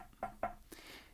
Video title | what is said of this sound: 2020 Jayco 287BHSW Jay Flight SLX Bath Entry Super Slide Half Ton Bunkhouse Travel Trailer | if it sounds like porcelain it is you'll notice if it's plastic